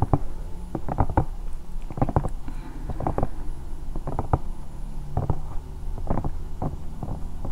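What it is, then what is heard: Silicone night lamp. A bear-shaped hollow silicone night lamp is scratched with the long nails of both hands. The result is a quick series of soft, muffled scratches and taps, with deep, boomy low rumbles and almost no high sound.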